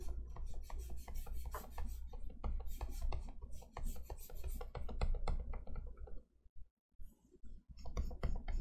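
A plastic stylus sketches quickly across the matte etched-glass screen of an XP-Pen Artist 15.6 Pro pen display lying flat, its nib scratching and rubbing in rapid, repeated strokes. The short, bright raspy scrapes run over a steady low hum, pause briefly for about a second near the end, then resume.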